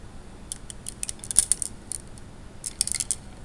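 Fingers stir and rub glass gems in a wet tray of water, making short, bright glass clicks. The clicks come in two loose clusters over a quiet background, each one dying away almost at once.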